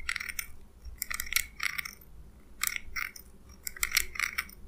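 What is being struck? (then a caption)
Small steel scissors. Small steel scissors with a purple handle are held in the fingers and their blades snipped open and closed, rubbing metal on metal. The result is clusters of quick, bright, dry metallic snips and scrapes with almost no ring, separated by brief pauses over a faint low background hum.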